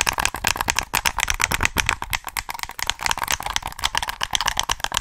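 Fingertips tap and click the buttons of a black, hollow plastic PS3 game controller held close to the microphone. The result is a rapid, uneven run of dry, bright plastic clicks and taps that stop instantly, with little low end.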